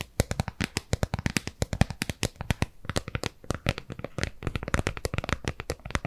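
Long nails scratch and tap the base of a hollow, round white plastic tub with a barcode sticker on the bottom, held in both hands. Dozens of quick, dry taps and scrapes follow one another in a steady, uneven patter. Each has a hollow low thump and a bright edge that dies away almost at once.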